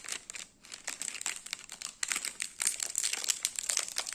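A small, full biscuit portion wrapped in metallic plastic foil is held in the hand and squeezed and scratched with fingertips and nails. It makes bright, dense crinkling and crackling with almost no low end, broken by short pauses near the start and middle. The crinkling grows louder and busier in the second half.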